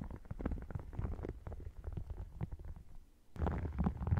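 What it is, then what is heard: Faux crocodile leather wallet. Fingernails scratch and tap across both halves of an open red faux crocodile-textured leather wallet. The result is a dense run of soft, muffled, low-pitched scrapes and taps heard very close up. After a brief lull near the three-second mark, the scratching resumes louder.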